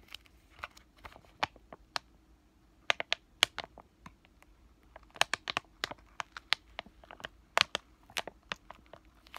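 A flat, green laminated plastic-foil sheet mask sachet is crinkled and tapped with fingertips and short nails. Around two dozen sharp, dry, bright crackles and clicks come in irregular clusters, with a brief lull near the start. Each one stops almost instantly over a faint, quiet background.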